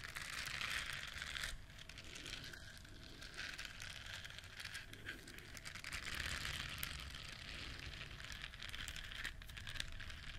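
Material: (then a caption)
Silicone. A yellow silicone duck-shaped bristle scrubber, held in both hands, is scratched with long nails across its soft bristles. This makes a continuous bright, crinkly scratching texture with a faint low rumble underneath, and the level stays steady throughout.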